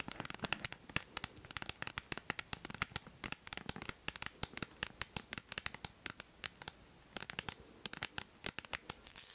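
Long nails scratch and tap across a flat cardboard Shoppers Drug Mart gift card sleeve held in the hand. The result is dozens of quick, dry, bright clicks and scrapes with almost no low end and no ring between them. The clicks come in uneven bursts separated by short pauses.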